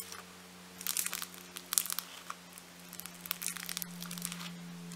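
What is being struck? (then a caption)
Foam bead clay. A large, solid slab of bright pink foam-bead clay (floam) is folded, pinched and pressed by thumbs with glittery nails. Bursts of bright, crisp crackling and crinkling come in clusters as the beads are squeezed, over a faint steady low hum.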